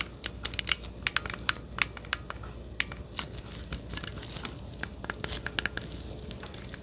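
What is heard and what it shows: Gloved fingertips rapidly click the buttons of a hollow, handheld-size plastic Nintendo Switch Joy-Con controller grip held beside the microphone. The result is a quick, irregular run of sharp, bright, dry clicks with a crinkly texture, each gone almost instantly, over a faint low hum.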